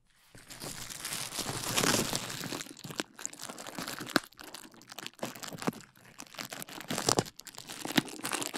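A large sheet of clear plastic bubble wrap with air-filled bubbles is held in both hands in front of a microphone while fingertips squeeze and pop the bubbles and crinkle the sheet. A bright, dense crinkling builds to its loudest around two seconds, then becomes patchier with quiet gaps. Sharp, snappy pops stand out near four, seven and eight seconds.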